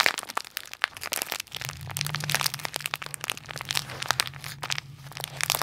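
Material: Plastic.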